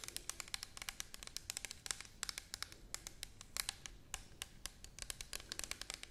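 Long nails tap and scratch the side of an orange plastic toner bottle held horizontally. The result is a quiet, rapid stream of bright, crisp clicks with almost no ring, layered over soft scratching.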